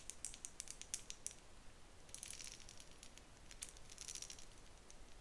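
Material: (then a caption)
Plastic. Long nails scratch and flick across the teeth of a pale pink plastic wide-tooth comb held horizontally, making a quiet, rattling patter. Bursts of sharp, bright ticks come in uneven clusters over a soft low hiss, each tick dying away almost instantly.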